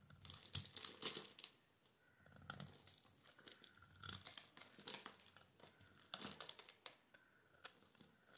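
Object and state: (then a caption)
Soap bar scraped with a blade. A solid, palm-sized pink embossed bar of soap is held in the hand and scraped with a metal utility knife blade, shaving off crumbly flakes. The sound is a quiet, dry, crinkly scratching made of short bright scrapes in irregular bursts with brief pauses between.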